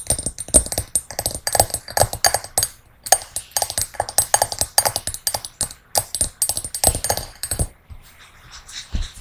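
Long nails tap and scratch the outside of a small, empty, hollow hammered brass singing bowl resting on a red cushion, first upside down and then upright. Quick, dense clicking taps carry a thin, high metallic shimmer that dies away almost at once, with a brief pause near the middle. The clip ends in softer scratching.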